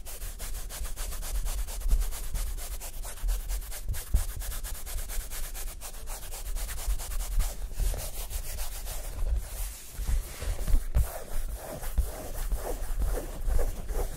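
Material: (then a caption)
Nylon fabric. Fingertips rub quickly over the taut nylon fabric of a large, round, collapsible photography reflector disc stretched on a wire frame. The result is a continuous, fast, scratchy rubbing with a sanding-like texture, a heavy low rumble underneath and a bright hiss on top. The strokes swell and fade without clear gaps.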